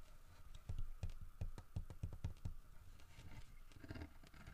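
Fingertips and short nails tap and scratch on a large, solid carved wooden bear figurine holding a fish in its mouth, working over the fish and the bear's head. The sound is a run of soft, dull taps with faint clicky edges that stop almost at once, mixed with quieter scratching. It stays quiet throughout, with a bright, scratchier stretch near the end.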